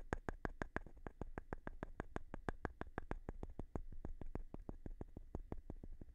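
A small, light-colored wooden board or block that looks solid is held in one hand while the other hand taps and scratches its face with the edge of a thin, flat stone. About three dozen quick, evenly spaced taps are heard, each a short, dry, bright click with a low, soft thud beneath it that dies away almost instantly. The sound stays quiet throughout.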